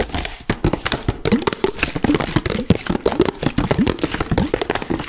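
An empty, hollow, clear plastic water bottle with a green cap and label is held in both hands in front of the mic and squeezed and crinkled by the fingers. It makes a dense run of sharp crackles and snaps with short, dry decays and a hollow low-mid body, plus brief squeaky pitch slides.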